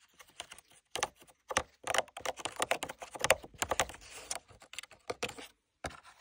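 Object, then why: Tooled leather sword sheath with metal rivets. Fingertips and nails tap quickly, keyboard-like, on the body and riveted top section of a hollow black tooled leather sword sheath with gold lines and metal rivets. The result is a stream of short, dry, clicky taps in uneven bursts with brief pauses, bright and mid-toned with almost no low end and no ring.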